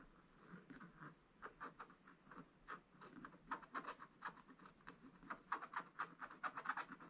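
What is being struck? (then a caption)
Wax-coated scratch-art paper page scratched with a wooden stylus. A thin wooden stylus scratches the black wax coating of a scratch-art paper page in a spiral book lying flat, working in small, detailed strokes. Quick, quiet, dry scratching bursts centered near 1.1 kHz follow one another, growing denser and slightly louder toward the end.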